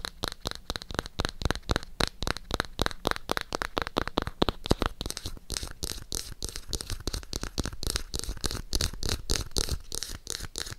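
Long acrylic nails rapidly tap and scratch the page edges and cover of a navy hardcover notebook with a small charm dangling from its binding. The result is a steady stream of quick, dry clicks and crisp scratchy textures.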